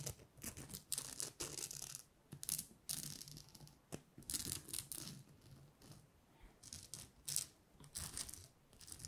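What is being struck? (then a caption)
Thin plastic star ornament with glitter coating. Long nails scratch and tap the glitter surface of a flat gold glitter star ornament made of thin, rigid plastic with cut-out filigree. Bright, crackly scratching comes in uneven bursts with quick, dry taps that die away almost instantly, and faint low rustle sits underneath.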